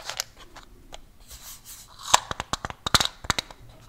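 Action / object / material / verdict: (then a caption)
tap / small metal mint tin / metal / none. Fingertips and nails softly scratch a small, closed, white rectangular Velamints tin, likely metal, then tap it in a quick, uneven run of about eleven sharp, bright clicks. Each tap is short and dry, with almost no ring.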